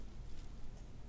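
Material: Nothing is struck.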